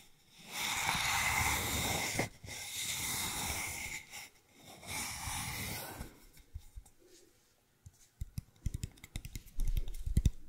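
Fingertips and nails scratch and tap the side of a long, hollow, empty brown cardboard tube held horizontally close to the mic. For the first six seconds, three sustained bursts of bright, hissy scratching rise and fall. After a near-silent pause, quick, dry, low-pitched taps follow in an irregular run.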